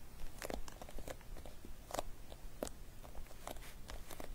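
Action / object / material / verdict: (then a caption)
tap / clear vinyl pouch with loose glitter / vinyl / none. Long nails tap and scratch the face of a flat, clear vinyl zip pouch with loose glitter inside and metallic pink trim, lying flat. Quiet, dry crinkly clicks and brief scratchy rustles come in an uneven series, each dying away almost at once.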